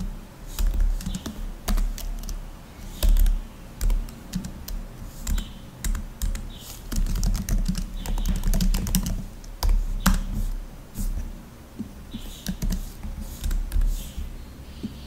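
Fingertips type rapid taps on the black plastic keys of a rose-gold laptop with a thin, hollow body, a microphone standing behind it. The clip is a continuous run of quick, dull clicks and soft thumps heavy in the low end, each dying away almost instantly, with brief bright clacks riding on top and small pauses between flurries.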